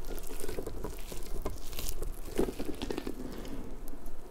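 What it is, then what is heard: Rubber puffer ball. A large, hollow, pink soft rubber puffer ball with spiky tendrils is squeezed and rubbed with fingertips and long nails. The result is a quiet, continuous run of soft crinkly, rubbery crackles and light taps, centred in a low-mid tone with a faint bright edge, each one dying away quickly.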